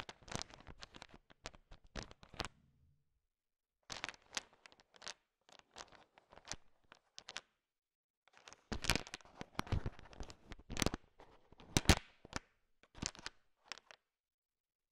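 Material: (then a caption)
Candy shell. A thin wooden stick stirs and taps a heap of small, hard sugar-shelled peanut M&Ms (candy-coated peanut chocolates) filling a bowl, mixing them. Quick, dry clicking and rattling crunches come in three busy bursts separated by short silences, with brief bright clacks as the hard shells knock together and against the stick.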